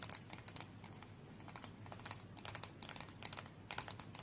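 A small red cardboard UNO card box lying on its side is tapped with long nails, then held and tapped on its sides with fingertips and nails. The result is a quiet, rapid stream of dry, bright clicking taps with almost no ring, over a faint steady low hum.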